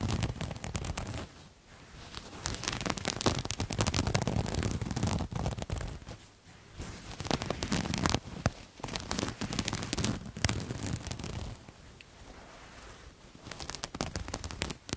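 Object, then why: Patterned cloth garment. Fingernails scratch the surface of a purple paisley-patterned cloth garment held up in the air, giving a steady run of dense crackling, rasping scrapes with some low rustle underneath. The scratching comes in irregular bursts that rise and fall in loudness, with brief quieter pauses around 1.5, 6.5 and 12 seconds.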